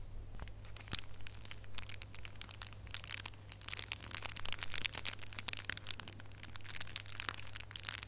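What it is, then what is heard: Foil-wrapped gift box ornament. A small red holographic foil gift box ornament is held up in bare fingers while nails scratch and squeeze the foil. Dense, crisp crinkling and scratching with bright, sharp clicks runs throughout, over a steady low hum.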